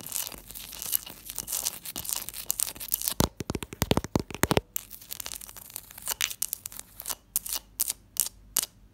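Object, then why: Block of ice. A block of ice is tapped and scratched alongside a textured glass dish. Dense crunching, scraping and crinkling sounds give way to sharper, separate taps.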